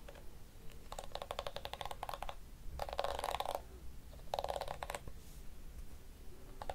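A small blue and pink plastic detangling hairbrush with a hollow shell has its plastic teeth scratched and tapped with long nails. The result is bursts of fast, dry, rattling clicks with a ringing plastic tone around 570 Hz and faint high scratchy edges. These bursts are separated by short pauses over a low, steady background hum.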